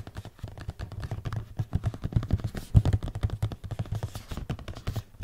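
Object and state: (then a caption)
Cardboard product box tapped with fingertips. Fingertips and nails tap rapidly on the flat faces of a red and white printed cardboard product box, hollow with the product inside. The result is a dense run of quick, dry, hollow taps with a low thump and almost no ring.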